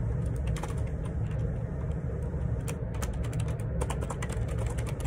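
Fingertips type steadily on the plastic keycaps of a black plastic Perixx Periboard 612 wireless Bluetooth ergonomic split keyboard with a hollow housing, lying on a grey laminate desk. Rapid, bright, clicky keystrokes sit over a constant low rumble, and the level stays fairly even throughout.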